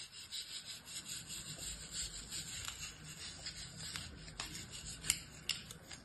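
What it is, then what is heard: Kinetic sand scraped with a blade. A metal utility-knife blade scrapes and trims the surface of a star-shaped block of beige kinetic sand packed in an orange plastic mold held in the hand. The result is a quiet, bright, gritty rasping that runs steadily throughout, with a few sharper crisp ticks near the end.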